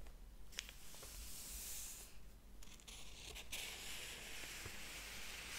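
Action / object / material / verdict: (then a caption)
scrape / paper pages of a thick hardcover book / paper / none. Fingertips flip the paper pages of a large, thick hardcover book lying open on a table and rub across them. Soft, bright papery swishes and rustles come in several sweeps, with a few faint ticks of page edges over a low rumble.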